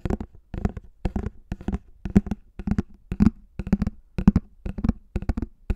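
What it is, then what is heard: Plastic flying disc. Fingertips and nails slowly tap and scratch the top surface of a hollow pink plastic frisbee, about 20 cm across, held close to the mic. Short, dry clusters of taps come in a loose, uneven rhythm. Each carries a low hollow thump of around 200 Hz with a brief scratchy edge that dies away almost at once.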